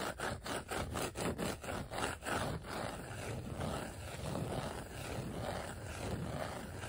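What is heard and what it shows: Fingertips rub and scratch across a flat, thin, dark glossy black vinyl sheet of die-cut letter stickers. A run of quick, rhythmic scratching strokes gives way to a steadier, continuous rubbing. The sound is a soft, papery friction with a low rumble underneath.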